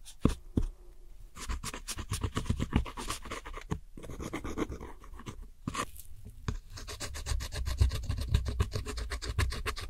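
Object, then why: Pressed powder eyeshadow in a round plastic palette. A metal hook tool scrapes and rubs the dark pressed powder eyeshadow wedges and the center pan of a round plastic palette. Quick, irregular gritty scratching strokes run almost continuously, with brief pauses near 4 and 6 seconds. Most of the sound sits in a dull low rasp with only a little high hiss.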